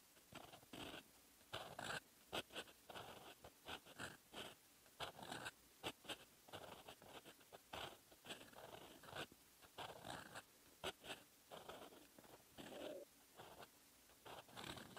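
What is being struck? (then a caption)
Metal fountain pen nib on lined paper notebook page. A metal fountain pen nib scratches across a lined paper notebook page, writing in red ink. Bursts of dry, bright scratching sound in short strokes separated by brief quiet pauses.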